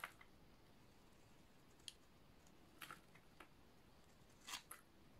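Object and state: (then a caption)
Dry bar soap being shaved. A utility knife blade shaves a solid light blue oval bar of dry soap, peeling off layered crunchy curls. Several short, bright, crisp crunches and scrapes are heard, spaced irregularly over a quiet background hiss. Each one stops almost at once.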